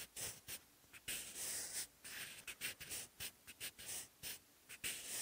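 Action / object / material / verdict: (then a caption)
scrape / graphite pencil on a paper notebook page / paper / none. A sharpened wooden graphite pencil writes Korean characters on the textured lined paper page of an open notebook. Quiet, bright, dry scratching comes in short strokes separated by brief pauses, with almost no low end.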